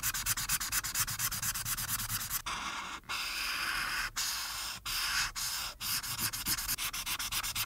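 A marker's felt tip is rubbed back and forth over a flat printed paper coloring page resting on a dark backing and held down by one hand, coloring the top right background orange. Quick, bright, scratchy strokes give way to longer, smoother continuous rubs with brief pauses, then return to rapid scratching. The sound is mostly a high, papery hiss with little low end.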